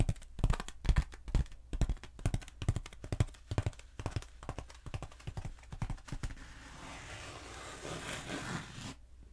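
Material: Foam.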